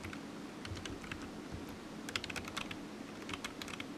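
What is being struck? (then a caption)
Plastic computer keyboard. Fingertips of one hand tap the keys of a solid, black, low-profile plastic computer keyboard resting on a desk mat. The quiet, irregular typing gives short, bright clicks that die out almost at once, over a steady low hum.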